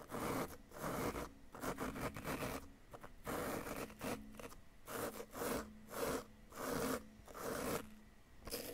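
A flat wooden chisel scrapes repeatedly across a solid yellow-green plaster dig-kit excavation block in close-up. The result is a series of dry, gritty scraping strokes with a faint tonal rasp, separated by brief pauses.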